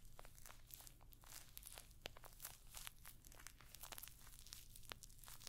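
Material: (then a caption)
Metal studs. Long nails scratch and tap across a rectangular clutch bag covered in rows of small, hollow, rose-gold metallic pyramid studs, held up close to the microphone. Rapid, crisp clicks and scratchy, crinkling ticks scatter densely with bright, quick-dying transients over a steady low hum throughout.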